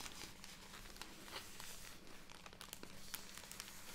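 A full, soft plastic-film bag of cotton pads is held upright and tapped and scratched with long red nails, then squeezed so the film crinkles. Quiet, continuous bright crinkling and scratching is broken by small sharp ticks from the nail taps, over a faint steady low hum.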